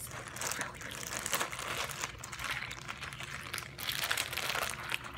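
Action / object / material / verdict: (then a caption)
shake / plastic zip-lock bag with water / plastic / none. A clear plastic zip-lock bag with a green seal, partly filled with water and blue bits, is squeezed and crinkled by fingertips. A steady, bright crackling of plastic continues for about five seconds, with water sloshing inside and louder swells near the middle and end. Faint speech may be present in the background.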